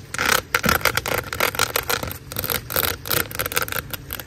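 Long acrylic nails scratch and tap along the ridges of a large, hollow, black corrugated plastic drain hose lying outdoors. Quick, dry ridged scrapes and light taps come in uneven bursts, with a bright rasp centered near 1.4 kHz and little low end. Faint rain may be heard in the background.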